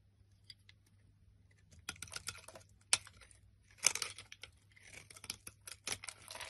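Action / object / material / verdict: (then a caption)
scrape / bar of soap / soap / none. A black blade carves and scrapes chunky flakes off the top of a solid olive-green bar of soap held in the hand. Irregular bursts of bright, crisp scraping and crackly cutting sound, with sharp clicks between them and quiet pauses. The strokes are short and dry, with almost no low end.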